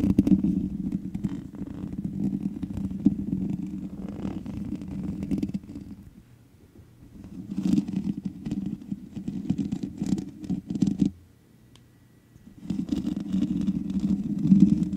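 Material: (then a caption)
Metal mesh. Long nails and fingertips scratch the hollow metal mesh head of a black microphone, producing a close, rumbling, crackly scraping sound centered low, with bright scratchy edges. The scratching comes in three sustained bursts, separated by two short near-silent pauses around the 6 and 11 second marks.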